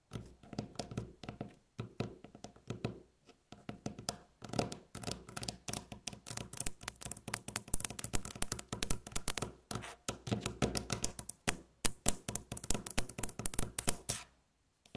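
Long natural fingernails rapidly tap, knock and scratch on a solid, light-colored flat wooden tabletop. The result is a dense, irregular stream of short, dry clicks and low wooden thuds with bright, crisp edges, coming in quick bursts with brief pauses between them.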